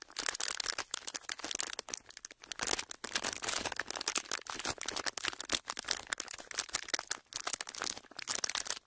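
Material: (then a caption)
Plastic. An empty sheet of clear, ridged plastic packaging is pressed flat and crinkled with the fingers. It gives a steady stream of dense, bright crackles and sharp snaps with no low-end body. Brief pauses break up the bursts of crinkling.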